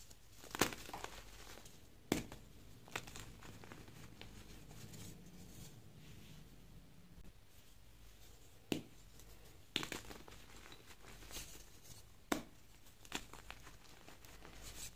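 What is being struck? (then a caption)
Magnesium carbonate gym chalk powder and blocks. Bare fingers scoop, squeeze and rub a pile of loose white BSN magnesium carbonate gym chalk powder, with a few broken block pieces, between the palms. Soft, dry crumbling and rubbing textures run under scattered sharp, bright crunchy cracks as the solid, crumbly chalk is crushed.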